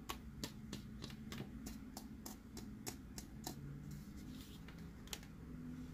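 Fingers tap the sphere of a hollow, hard plastic BB-8 sipper cup, producing a quick run of short, bright, clicky taps that die away almost instantly over a steady low hum. The taps then give way to a soft, gritty rasp as the cup's screw-threaded halves are twisted open, with one more tap near the end.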